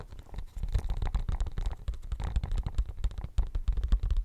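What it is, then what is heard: Silicone studded pencil case. Fingernails scratch across a pink silicone pencil case covered in studs, held close to the microphone. The result is a steady run of dense, muffled scratching and soft bumping, heavy in low rumbling tones with very little brightness.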